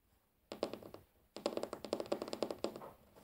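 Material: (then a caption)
Wood. Fingertips drum on a large solid wooden tabletop, tapping and scratching it with the short-to-medium natural fingernails of both hands. A brief burst of quick, dry, mid-pitched taps comes first, then after a short pause a longer run of rapid taps and light scratches follows. Each tap is crisp with a bright nail click and dies away almost at once.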